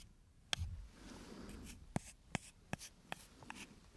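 A thin, solid, brownish wooden stick held in one hand is scratched along its length with the fingernails. A soft, dry rasping runs underneath six sharp, bright clicks that stand apart, each dying away almost instantly.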